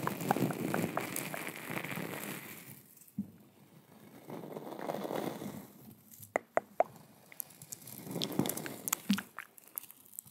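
A small, hand-sized coiled stainless steel scouring pad is held in one hand close to the microphone and scratched and crinkled by long white acrylic nails. It makes dense, crackly scratching in three waves, with a few sharp, bright clicks and ticks between them. The sound is soft, close and dry, with no ring after each scrape.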